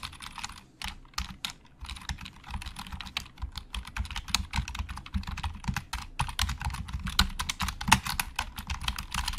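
Fingertips type on a black plastic Logitech keyboard with hollow plastic keys, producing a stream of short, bright plastic clicks over soft low thumps. The typing starts with brief pauses, then settles into a steady, fast run of quick, dry key taps.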